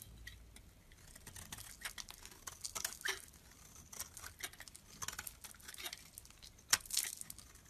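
A metal blade shaves flakes from a solid pale lilac bar of soap with faceted carved edges, held in the hand. Quiet, crisp, bright scraping strokes come in a steady run of short bursts, with a sharper, louder scrape near the end.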